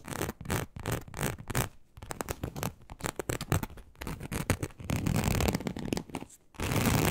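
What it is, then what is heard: Embossed leather sheet scratched with nails. Long acrylic nails on both hands slowly scratch a large, flat, teal snakeskin-embossed leather sheet, likely faux, laid on a table. Short, dry, rasping scrapes with a low, thumpy body come in quick uneven bursts. Near the end they merge into steadier, continuous scratching.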